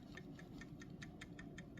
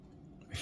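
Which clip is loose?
The first.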